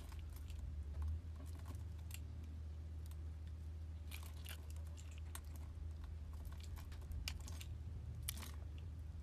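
A metal blade slices grid-scored strips and cubes off the top of a solid blue soap bar held in the hand. Crisp, crunchy cutting scrapes come in short bright bursts over a steady low hum.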